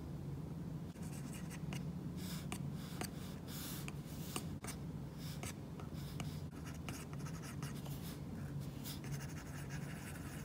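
A stylus tip drags in drawing strokes and taps lightly on a glass iPad screen fitted with a matte, paper-like plastic screen protector, with a hand resting near the surface. Soft, bright scratchy strokes and faint ticks come and go over a steady low hum, all at a quiet level.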